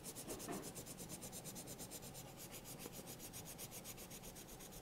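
A yellow colored pencil held in the hand scratches and rubs over the page of a thick paper sketchbook lying open while coloring. Steady back-and-forth strokes make a soft, rhythmic rasping with a bright, papery hiss that pulses evenly throughout.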